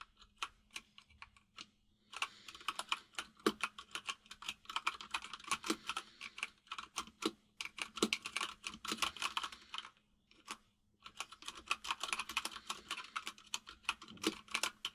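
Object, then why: Plastic mechanical keyboard. Fingertips of both hands type on a full-size mechanical keyboard with white and grey plastic keycaps. They make rapid, bright, clacky keystrokes in bursts, with brief pauses near the start and around the ten-second mark, over a faint steady low hum.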